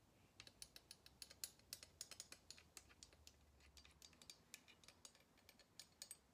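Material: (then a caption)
Wood. Long red-painted nails tap along the arms of long kitchen tongs with wooden handles and black plastic or nylon gripping ends, held above a table. A quiet, irregular run of quick, bright clicks plays out, each tick crisp and dying away almost instantly with little low end.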